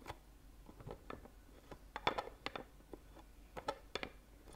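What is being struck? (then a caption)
Rigid clear plastic chocolate box. Fingernails tap the lid of a small, clear, rigid plastic Ferrero Rocher box filled with gold-foil-wrapped chocolates, held in one hand. The result is a series of light, crisp, dry plastic clicks with a bright tick. Each click stops almost instantly, and the taps are spaced irregularly over quiet background.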